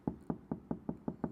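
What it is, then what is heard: Car door panel sounding solid after sound deadening. Seven knocks on a car's inner sheet-metal door panel covered with sheet sound-deadening material give short, dull thuds centered low around 200 Hz that die away almost instantly. The panel sounds very solid rather than hollow.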